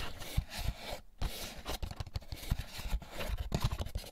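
Fingertips rub and scratch the bumpy egg cups on the underside of an empty, hollow, white molded paper pulp egg carton. Dry, papery scraping and scratching is punctuated by soft, low, hollow thumps, with a brief near-silent pause around the one-second mark.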